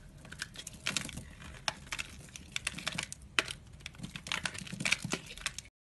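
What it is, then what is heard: Bar of soap being shaved. A blade scrapes and shaves the surface of a solid, palm-sized orange bar of soap held in one hand, leaving crumbly flakes. Dry, crisp scraping and crackling ticks come in quick, bright bursts over a faint low rumble, and the sound cuts off abruptly just before the end.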